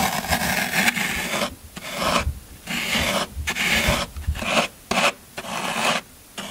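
A metal scraper tool rakes repeatedly across the surface of a solid green floral foam brick. Each pass makes a crumbly, rasping scrape that is bright and gritty, with short quiet gaps between the strokes.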